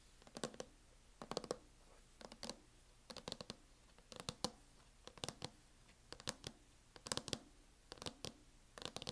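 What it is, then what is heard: Plastic laptop case tapped with nails. Long nails tap quickly on the lid of a closed laptop in a teal matte plastic hard-shell case. They make bursts of sharp, dry clicks that die away almost instantly. The bursts come roughly once a second, with quiet gaps between them.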